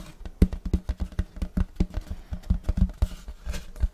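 Fingers of both hands scratch and rub the surface of a large, solid, round checkered wooden serving platter held close in front of the mic. About twenty short, dull strokes come in quick succession, each with a low woody thump and a faint bright scratchy edge, and they die away almost at once.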